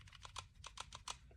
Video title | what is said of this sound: Is This The BEST Out The Front (OTF) Knife They Make?! Benchmade Shootout | I will have to shake it really hard to hear a little bit of rattle, a little bit of side to side